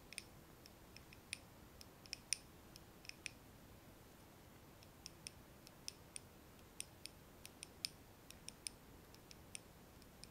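Long nails tap on the glass of a small, lit candle jar filled with solid wax, held in both hands. About 28 quick, light, bright clicks come at an irregular pace over a soft, steady background hiss. Each tick is sharp and dies away almost instantly.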